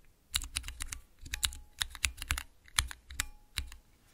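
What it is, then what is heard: Clear plastic mechanical keypad. Fingertips rapidly press the keys of a small, clear transparent acrylic 9-key mechanical keypad fitted with Cherry MX switches. The result is a quick, irregular run of short, sharp, bright clacks, each with a brief low thud underneath and almost no ring.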